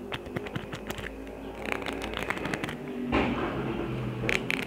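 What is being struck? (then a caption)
Plastic adhesive gem sheet. A small, thin, solid plastic sheet of red and white adhesive rhinestone gems rests on the palm of one hand while the fingernails of the other hand scratch and tap across the gem rows. Quick, bright clicks and ticks are heard, followed by a denser, louder stretch of scratchy scraping before a few sharp taps at the end.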